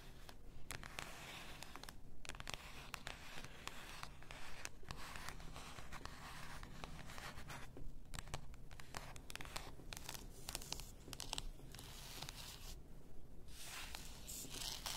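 Long nails scratch the paper label of a full glass bath salt bottle lying on fur. The result is a steady, quiet, papery scratching with many short bright ticks over a soft low rumble, continuing throughout.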